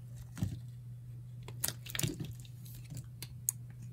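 A light green, palm-sized, solid and dry Lever bar soap is held in hand and carved into chunky chips with a metal utility knife blade. Short, dry, crisp crunching scrapes with bright edges come at an irregular pace over a steady low hum.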